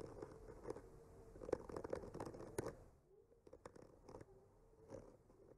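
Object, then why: Painted wooden panel and bamboo skewer. The tip of a bamboo skewer traces and scratches across a solid wood panel painted with trees. Quiet, dry scratching and crackling carries a faint steady tone near 480 Hz, with sharper clicks standing out. It grows softer and sparser after about three seconds.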